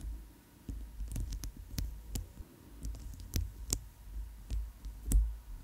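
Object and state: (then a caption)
Plastic bracelet. Long chrome nails tap and scratch a chunky white plastic bracelet with magenta oval inlays, held over a foam-covered microphone. Short, crisp clicks with quick decay come at irregular intervals, with soft scraping between them, over a steady low hum.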